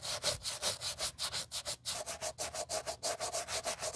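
Gloved hands vigorously scrub the side and toe of a white leather Gucci Ace sneaker with a rubber sole, using a wooden-handled brush during a restoration. About 23 quick back-and-forth strokes are heard, roughly three per second and somewhat uneven, each a bright, hissy bristle rub with a faint mid-pitched squeak and almost no low end.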